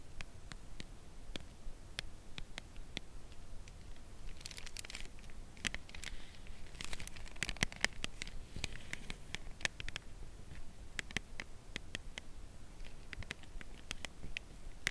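Long acrylic nails slowly tap along the edge of a white Lindt Creation Crème Brûlée cardboard box holding a chocolate bar. Sharp, dry clicks that die away instantly are spaced through the clip, with brief bursts of crinkly rustling in the middle over a quiet low hum.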